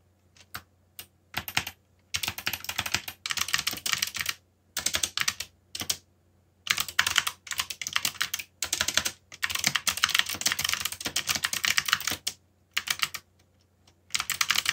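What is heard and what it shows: Fast fingertip typing on a backlit mechanical keyboard with black plastic keycaps produces bursts of crisp, bright clicks separated by short pauses. The keystrokes are sharp and dry with almost no ring, and the sound sits mostly in the high range with very little low end.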